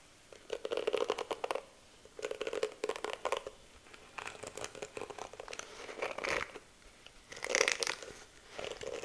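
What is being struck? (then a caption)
Plastic detangling hairbrush. Long nails rake and scratch across the pink bristles of a plastic detangling hairbrush held close to the mic, making crinkly, crackling clicks. The clicks come in short bursts separated by quiet pauses, with a papery midrange body and bright, dry edges that stop instantly.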